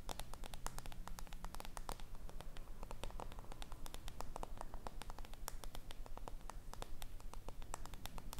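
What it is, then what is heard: Small lacquered wooden box tapped and scratched with nails. Long red nails tap and scratch the flat wooden lid of a small, hollow, lacquered wooden box with a gold ornamental border, held in one hand. The result is a fast, slightly uneven stream of short, crisp clicks with soft scratching between them, over a steady low hum.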